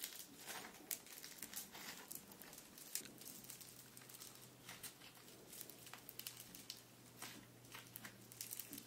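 Close-up of pink bead-filled foam slime (floam), soft and solid, kneaded and squeezed by both hands with fingertips and nails. It gives quiet, dense crackling and crinkling with many short, bright pops over a faint low hum.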